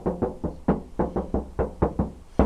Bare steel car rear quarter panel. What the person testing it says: it's like a drum, like the spare wheel well was